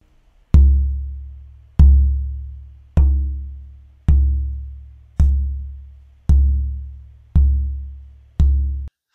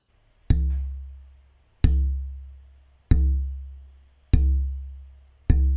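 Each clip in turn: First: Red cedar soundboard plate, lively resonant tap tone. Second: German spruce soundboard plate, weak vibration.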